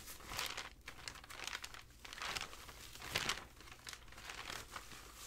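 Fingertips with dark-painted nails leaf through and ruffle a loose stack of thin, dry, aged, tea-stained, crinkled paper sheets, rubbing them together beside an untouched carved book cover. The result is bright, dry crinkling and rustling in uneven bursts, with very little low end and a quick fade after each movement.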